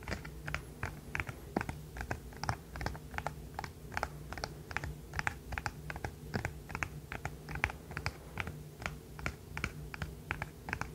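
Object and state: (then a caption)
Plastic fidget toy. A hand-sized, rainbow-colored, segmented plastic fidget toy is held in one hand and tapped and clicked with the fingernails of the other hand. A steady stream of short, sharp, bright clicks follows at an uneven rhythm, each dying away almost instantly. A low, continuous hum sits underneath.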